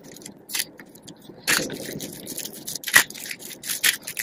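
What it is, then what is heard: Dry soap curls crumbling. Purple and green dry soap flakes and curls on a dark surface are squeezed in a fist and crumbled between fingers. Dry, crunchy crackling comes in uneven bursts, with sharper, louder crunches standing out among a steady fine rustle. The sound is bright and brittle, with almost no low end.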